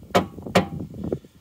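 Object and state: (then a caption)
Empty steel fuel tank. The metal fuel tank of a Corsa B is knocked from underneath: two sharp, hollow knocks followed by a softer third, each dying away almost at once. The tank sounds empty, its old fuel apparently having evaporated.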